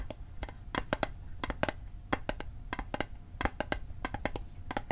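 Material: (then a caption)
Metal. Fingertips and nails tap the sides of a small, hollow, rectangular metal Altoids mint tin held on its edge. The result is a quick, irregular run of short, bright metallic clicks, each with a faint ringing pitch near 630 Hz that dies away almost at once, over a low background rumble.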